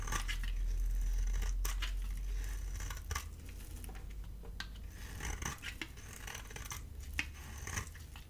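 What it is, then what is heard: Bar soap scraped with a blade. A solid, dry oval bar of soap with a blue coating and cream core is held in the hand and scraped with a metal utility blade, sending flakes falling. Quiet, dry, scratchy scraping strokes repeat in a fairly steady rhythm, with short crisp bright rasps over a low background rumble.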